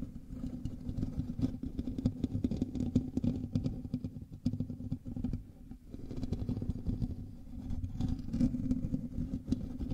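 Fingertips and nails of both hands scratch the hollow metal mesh grille of a black microphone, in direct contact with the recording mic. The result is a dense, continuous scratching rumble, heavy in the lows with a humming tone around 250 Hz. It briefly thins out around the middle before building again.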